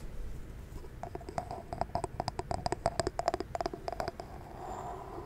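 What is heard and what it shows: Long nails tap rapidly across the glass surface of a large jar candle filled with solid white wax, held steady close to the mic. The taps are short and clicky, with a faint glassy ring near 690 Hz and bright edges, before the tapping stops and only a soft hiss remains.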